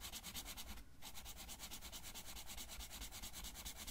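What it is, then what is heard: Marker coloring on a paper sheet. A blue felt-tip marker colors a thin paper coloring sheet that lies flat, held in place by the fingers of the left hand. Quick, steady back-and-forth rubbing strokes make a bright, scratchy swish with a soft low rumble underneath, briefly easing just before the one-second mark.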